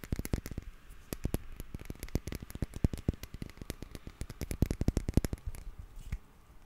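Fingernails tap and scratch a small black glass perfume bottle with a gold cap. The result is a quick, uneven run of sharp, dry clicks with a soft thump underneath, each dying away almost instantly, with a brief lull just before the second mark and the tapping thinning out over the last second.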